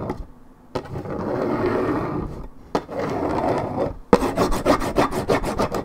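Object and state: Paperboard juice carton, scratched.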